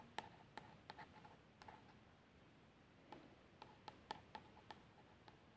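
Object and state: Plastic shower gel bottle, nail tracing.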